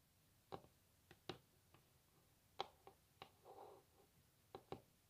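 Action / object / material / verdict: tap / varnished wooden tabletop / wood / none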